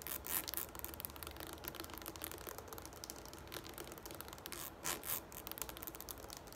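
Long nails scratch and rub along the ridged side of a tall, hollow green plastic shampoo bottle standing upright. The result is a continuous, crackly, bright rasping texture, with short swells of louder scraping near the start and again around the five-second mark.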